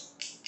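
Two wooden pencils are struck together, giving two sharp, bright clicks with a short high ring. The sound shows that wood carries sound.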